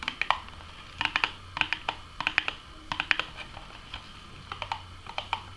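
Long manicured nails tap and scratch the front and top of a small, hollow, closed printed Burger King Nuggets cardboard box. Quick clusters of sharp, bright, clicky taps come in bursts with a light scratchy texture between them. Each tap is dry and dies away almost instantly.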